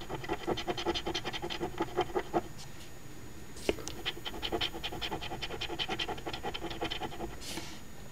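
A coin edge held between finger and thumb scratches the latex coating off the lower number spots of a flat, thin card OLG instant lottery ticket (#2445, $2 Quest For Gold), held close up and partly covered by the hand. Quick, short raspy strokes repeat in bursts with a brief pause around the middle, and a sharper tap stands out partway through.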